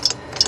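A soldered metal float from a Tecumseh lawnmower carburetor is shaken, giving two light, bright ticks with no sloshing. The float sounds dry, with no gas or water inside, so it will not sink and flood the carburetor.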